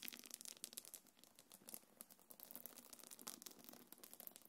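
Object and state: Quilted faux-leather pouch.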